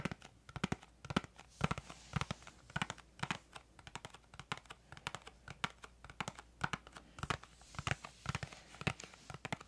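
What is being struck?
Small cardboard box.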